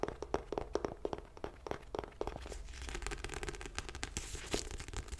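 A paperback book with a purple cover and a paper block is held in both hands while long light-blue nails tap and scratch its cover and page edges. Quick, dry, sharply clipped taps come first, then give way to a steadier, rustling scratch across the pages with a few taps mixed in. The sound is soft and close, with much of its weight in a low thud under the papery crackle.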